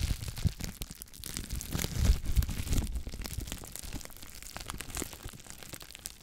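A clear plastic bubble wrap sheet is held in front of the mic and crinkled and squeezed with fingers and long black nails. Its bubbles pop in a dense, irregular stream of sharp crackles and snaps over constant crinkling, with low thumps underneath. The loudest snaps come in the middle of the clip.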